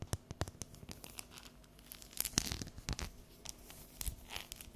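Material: Chocolate.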